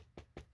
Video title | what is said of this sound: 2002 WWE Cruiserweight Championship replica belt review | it sounds plasticky